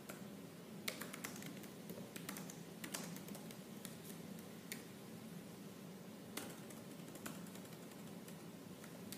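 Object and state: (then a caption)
Laptop plastic keyboard. Fingertips with purple-painted nails type fast and aggressively on the black plastic keys of a silver laptop keyboard. A quiet, continuous stream of short, bright clicks and taps, with a few sharper strikes standing out, sits over a steady low background noise.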